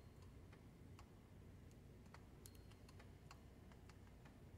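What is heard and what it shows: A long light-pink fingernail scratches and taps along the ridges of a metal safe combination dial knob set in a recessed metal bowl. Soft, sparse bright ticks and clicks sit over a steady low rumble, giving a faint, quiet tapping texture.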